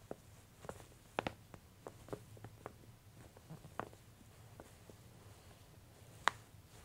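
A thin glossy paper J. Jill women's clothing catalog is held at its bottom edges by hands with long nails while the pages are squeezed and crinkled and one page starts to turn. Quiet, sparse, dry crinkles and small ticks sit over a faint steady hiss, with a sharper, brighter crackle standing out near the end.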